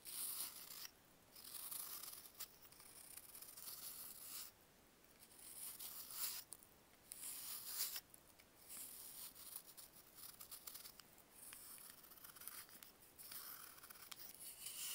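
A solid, chalky block of dried baking soda, held in a hand with long nails, is carved with a box-cutter blade. It makes bright, gritty scraping and crunching strokes in uneven bursts separated by brief quiet gaps. The sound is almost entirely high-pitched, with very little low end.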